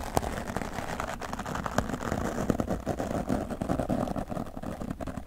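A wooden natural-bristle brush is swept across the right side of a grey foam microphone windscreen while a hand with long nails rests on the foam. The result is a steady, dense, scratchy brushing rustle, dull and low-heavy with a muffled rumble. Brief sharper scratch peaks poke through the constant texture.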